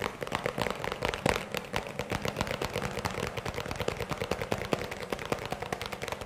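A small, hollow, empty-looking white round plastic tub or bowl is held in the hands and tapped and scratched with fingertips and nails. Rapid, dense clicking taps with a hollow tone near 530 Hz and a bright scratchy edge follow one another with almost no ring between them.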